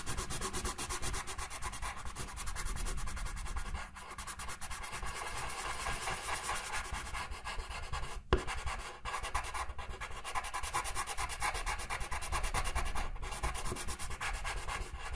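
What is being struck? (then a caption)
Felt-tip marker on paper. A pink felt-tip marker colors a white paper coloring sheet lying on a table in short, fast strokes. Its tip rubs and scratches across the paper in a steady, dense scribbling texture, with a brief sharp tap about halfway through.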